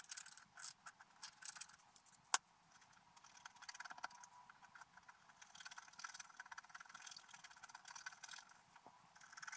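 A wooden stylus scratches details into a flat, black-coated scratch art paper page. The result is a quiet run of thin, bright scraping strokes in short bursts, with one sharp tick partway through and almost no low end.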